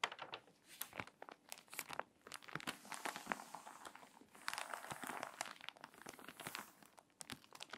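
Long nails and fingertips scratch and rub the wrinkled pages of a water-damaged glossy paper magazine and turn to the next spread. Dense, bright crinkling and crackling with sharp little snaps runs throughout, with a fuller rustling swell midway as a page turns.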